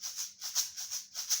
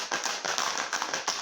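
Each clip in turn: First: plastic shaker filled with rice. Second: shaker filled with stones.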